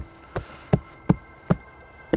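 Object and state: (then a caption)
Hollow-sounding loose bark on a dead, decaying tree. Five knocks on the trunk of a long-dead, decaying hemlock or fir left standing as a wildlife snag. Each produces a short, hollow, low thud that dies away almost instantly. The hollow sound comes from the loose bark sloughing off, with no conductive tissue left in the tree.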